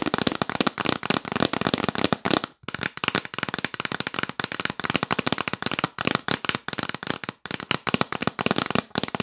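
Long nails tap fast on a hollow, yellow printed cardboard gift box held upright. A rapid, continuous run of dozens of sharp, dry clicks fills the clip, with a hollow low knock under each tap and a bright top. The tapping breaks briefly around 2.6 and 7.4 seconds.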